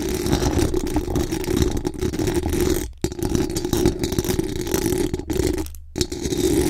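Very long acrylic nails scratch fast across the hollow metal mesh dome grille of a large condenser microphone. The result is a dense, continuous rough scraping with a strong low, boomy body. It breaks off briefly near the 3-second mark and again just before 6 seconds.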